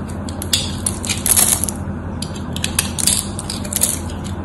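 A knife blade scrapes across a scored solid white bar of soap, breaking off small cubes. Dry, crisp scraping and crackling snaps come in bright, sharp bursts over a steady low hum.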